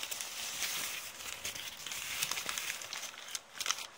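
A thin, empty, crumpled brown kraft paper bag is held up close while long red polka-dot painted fingernails crumple and scratch it. The result is a steady, dense run of bright, crisp crinkling and crackling with almost no low end, plus a few sharper snaps.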